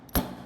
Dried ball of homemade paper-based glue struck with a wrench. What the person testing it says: Csak tompa, tompa hangokat fog hallani. A felület nem reped, és még a szélei sem töredeznek.